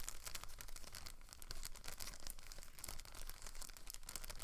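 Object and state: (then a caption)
Clear plastic packaging bag being crinkled. A thin clear plastic packaging bag holding a blue plastic rotor guard is crinkled and rubbed with fingertips and long nails. The clip is a steady stream of quiet, bright crinkling and crackling of the bag film, with dense rapid rustles running throughout and a low rumble underneath.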